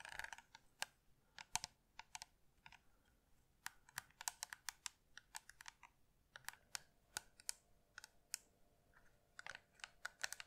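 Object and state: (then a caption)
Plastic electric lint remover, tapped with fingernails. Long red nails tap and scratch a hollow handheld white and blue plastic Philips electric lint shaver with a metal mesh head. The result is a quiet, irregular run of sharp, bright clicks that die away almost instantly, over soft scratchy rustling, with a faint steady mid-pitched hum joining about halfway through.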